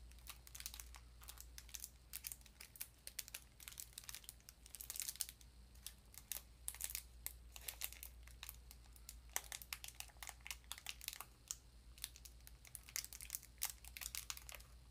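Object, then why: Foil paper wrapper on a metal sardine tin. Long nails press, scratch and crinkle the foil paper wrapper of a small, full-looking rectangular sardine tin lying barcode side up. Quiet, bright crackles and crisp crinkles come in dense bursts over a faint steady low hum, each snap dying away almost instantly.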